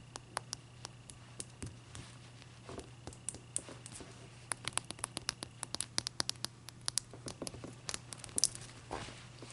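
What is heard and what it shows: Long nails tap and scratch the sides and top of one solid clear ice cube, which is held up and then set on a white towel. Around thirty quick, sharp, bright clicks ring out, with soft scratchy rustling between them and a faint low steady hum underneath.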